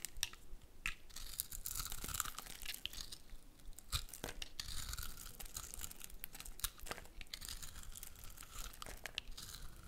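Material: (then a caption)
Soap. A metal utility blade shaves curled flakes off a solid, hand-sized dark brown soap bar with red speckles, held in one hand. Continuous dry scraping and crunchy tearing carry a bright hiss, broken by frequent sharp crackles as each flake peels away.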